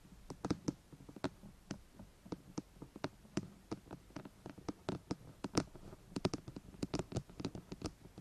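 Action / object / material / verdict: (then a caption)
tap / plastic microphone housing / plastic / none. Long painted fingernails on both hands rapidly tap and scratch the top of a white, hollow, rectangular plastic binaural microphone body. The result is a quiet, irregular patter of about 25 dry, short clicks and scrapes, each dying away almost at once. They carry a hollow low body around 300 Hz and thin bright ticks above.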